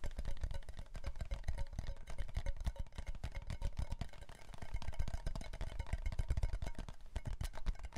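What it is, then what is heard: Cardboard chip can tapped. A red Pringles chip can, a hollow composite cardboard tube with a metal base, is tapped rapidly with the fingertips and nails on its side and bottom, then turned sideways. The taps are dense, short, hollow thumps with deep low body and light clicky edges that die away almost instantly, forming a steady patter throughout.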